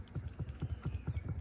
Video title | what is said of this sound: BMW G12 7 Series Complete Dash Removal Dash Leather fixed. | That tapping noise. Now, I know I missed a screw down here in this corner